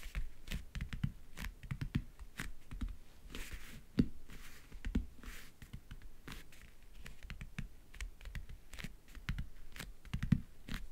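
Fingernails tap quickly on the lid of a closed, hollow backgammon case covered in map-print faux leather (leatherette). The result is a rapid, irregular stream of short, dry, low, hollow clicks that stop almost instantly, with a few louder taps and brief soft scratchy brushing sounds between them.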